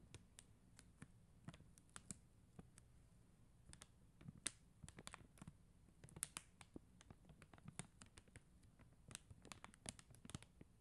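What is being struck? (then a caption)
Plastic gem sticker sheet tapped with fingernails. Long acrylic nails tap and scratch across a flat plastic rhinestone sticker sheet of faceted plastic gem stickers. Dozens of quiet, sharp, bright clicks with an irregular rhythm sit over a soft, steady low rumble, each dying away almost instantly.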